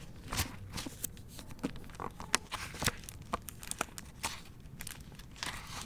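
A hardcover copy of the novel "Most Wanted" in a clear plastic library dust jacket is held in both hands and turned from back to front, then its paper pages are flipped with the fingers. Brief, bright plastic crinkles and crackles sound over a low rustle, followed by soft papery flips as the pages turn.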